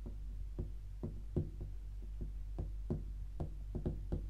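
Long pink acrylic nails and fingertips tap and scratch the flat lid of a closed, rigid, hollow white cardboard tea gift box with a red star print, lying on a grey sofa. The result is a loose, irregular series of short, dull, low knocks that die away almost at once, with faint scratchy tails over a steady low hum.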